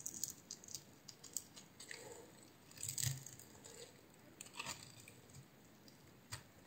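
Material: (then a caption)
Soap. A utility knife blade scores and scrapes the surface of a solid, hand-sized green oval bar of soap. Quiet, bright, crisp scratching and crunching ticks come in irregular bursts over a soft low rustle, with a louder, longer scrape near the middle.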